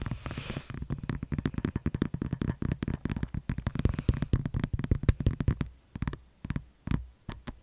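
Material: Plastic.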